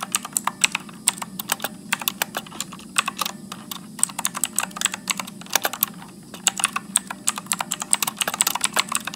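Fingertips type continuously at medium speed on a backlit Motospeed mechanical keyboard with blue switches and plastic keycaps. Around fifty sharp, bright clicks ring out, each dying away almost instantly, over a faint steady low hum.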